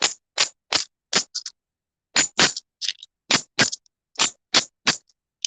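Five magnetic imitation Morgan dollars, magician-stunt copies weighing about 19 grams each, are clinked together in the hand. They make a rapid series of bright, dull-ended clicks with very short ring, which doesn't sound like silver striking silver: the coins are fakes.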